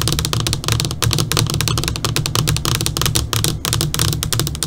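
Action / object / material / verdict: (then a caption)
tap / LCD computer monitor screen, tapped with fingernails / plastic / none. Long pointed purple nails tap quickly on a flat black LCD computer monitor screen, first with both hands and then with one hand continuing. The taps are rapid, uneven, bright clicks layered over a steady low hum, with each tap dying away almost at once.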